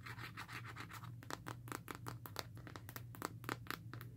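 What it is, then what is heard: Rugged plastic and rubber phone case. Long nails scratch along the ridged plastic back of a smartphone in a black rugged plastic and rubber case, then tap the surface. A continuous raspy scratching opens the clip and gives way to a quick series of sharp, bright clicks and short scrapes over a steady low hum.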